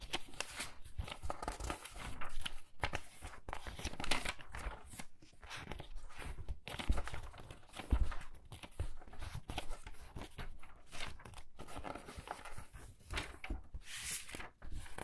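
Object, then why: Paper pages of a hardcover book. Thin paper pages of a large hardcover book lying open on a wooden table are pinched at the corner and flipped over in quick succession by fingertips with long red nails, while the other hand rests on the pages. Each turn makes a crisp, papery swish and crinkle, with short rustles and soft flutters running together into a steady, close-up stream of page sounds.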